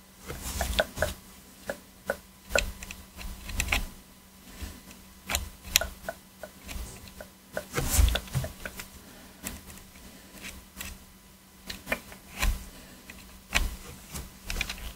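Gloved hands scrape the gaps around the face buttons of a black PS4 controller, made of hollow hard plastic, with a thin metal pick. Short, dry, bright scratches and clicks come in uneven bursts, each dying away almost instantly, over a faint steady low hum.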